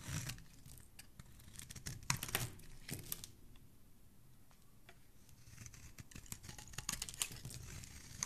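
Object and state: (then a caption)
Bar of soap being shaved. A metal blade with a black handle shaves thin strips off one end of a white solid bar of soap held in the hand. Quick, irregular, crisp scraping and crinkly shaving strokes come with bright hiss, with a brief lull in the middle. The overall level stays quiet.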